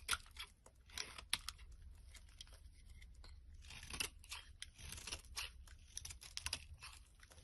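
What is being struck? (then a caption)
Bar soap shaved with a blade. A flat blade shaves long strands off the top edge of a solid green Fa bar soap held in the hand. The result is a quiet series of bright, crisp scraping and crunching strokes, each a short tearing burst that stops almost instantly with no ring.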